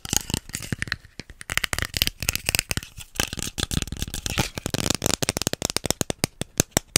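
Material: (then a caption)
Plastic. A small, hollow pink plastic cosmetic bottle with a white cap is tapped and scratched with fingertips and nails close to the mic. Rapid, sharp, bright clicks with very short ring are mixed with dry, rustling scratches, sometimes in quick bursts and sometimes in brief pauses.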